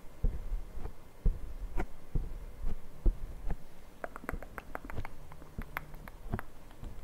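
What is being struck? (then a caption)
Foam microphone windscreen. Fingertips from both hands rapidly tap and scratch a black foam windscreen on a Zoom recorder mic. The result is a series of muffled, bassy thumps with a soft, rustling scratch between them. In the second half, quicker, crisper taps add brief bright clicks on top of the low thuds.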